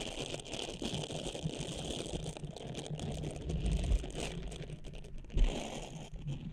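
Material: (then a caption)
Silicone. Long nails rapidly scratch and tap the nubbed surface of a small blue textured silicone cleansing pad draped over a microphone. The result is a dense, steady crinkling and scratching texture with a heavy low rumble, broken by a few louder thumping taps near the middle and toward the end.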